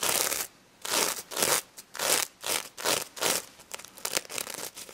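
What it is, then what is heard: Sequin-covered plush toy. Long red nails scratch and flip the plastic sequins on a pink stuffed plush pig toy, up close. Bursts of bright, hissy scratching come in uneven strokes, with quiet gaps between some of them and a faster run of short scrapes near the end.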